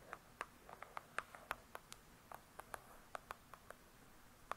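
Long pointed acrylic nails on both hands tap and scratch the glossy, paper-covered cardboard front cover of a large hardcover "True Crime" book lying flat, solid with pages inside. About 18 quiet, sharp, clicky taps fall at an uneven pace, centered in the mid range with bright tops and almost no ring. Faint soft scratching fills the gaps between them.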